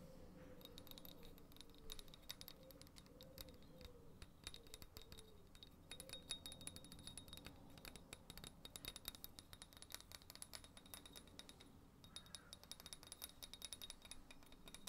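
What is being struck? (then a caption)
Small terracotta flower pot filled with soil. A small, hollow orange terracotta flower pot filled with soil is held in both hands and tapped and scratched with fingernails. The result is a quiet, continuous stream of rapid, crisp clicks and scrapes with a bright ring near 3.7 kHz over a low, dull body. Each tap dies away almost instantly.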